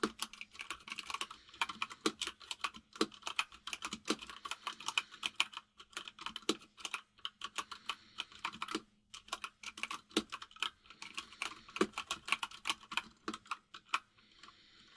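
Fingertips of both hands type fast on a full-size mechanical keyboard with white and grey plastic keycaps. A dense stream of short, bright, clacky keystrokes runs throughout, with a brief pause near the middle. A faint steady low hum sits underneath.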